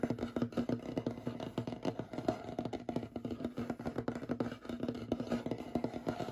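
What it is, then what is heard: Wooden tabletop. Short fingernails and fingertips rapidly tap and scratch across the surface of a large, solid, light-colored wooden tabletop. The dense stream of quick, dry knocks sits mostly in the low-mid range, with short scratchy rasps between them, and each tap dies away almost instantly with little ring.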